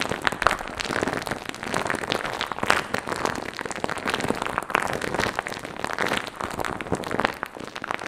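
Fingertips rub and scratch across a soft, hand-sized, light-blue fluffy foam or fur windscreen covering a microphone, making direct contact with the cover. The result is a dense, continuous crackling and rustling scratch, with many quick, dry bursts spread across the mids and highs and little low end, holding a steady level for the whole eight seconds.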